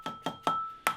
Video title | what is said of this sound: Part 4 - of the MINI R50 R52 R53 Engine, Gearbox, Clutch and Flywheel removal series | you can hear the tone change as it starts to get loose all right so we're definitely loose